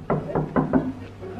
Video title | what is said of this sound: 1H DE CACHE-CACHE @TiboInShape - (Compilation Swan et Néo) | c'est creux. Ah, ça fait une bonne cachette ça.